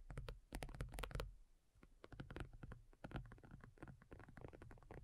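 Long nails from both hands tap rapidly on a black folding faux leather iPad cover lying flat, thin and hollow-backed. The quiet, dull taps land in quick, uneven patter with a low, soft thump under each click. Each tap dies away instantly, with a brief lull in the middle.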